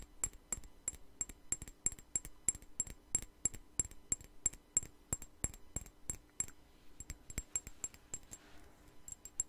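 Fingernails tap a small, partly filled clear glass perfume bottle with a white flower cap, held close to the microphone. Thirty-six quick, bright clicks with a high glassy ping come in an uneven rhythm, each dying away almost at once.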